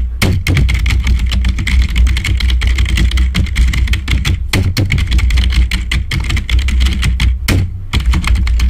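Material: Plastic.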